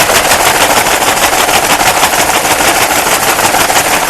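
Dry lamb's ear flower heads are shaken hard inside a paper bag to knock loose their seeds, which are about the size of a pepper flake. The result is a loud, continuous papery rattle and crackle, surging in a quick, uneven shaking rhythm of roughly three pulses per second with no separate hits.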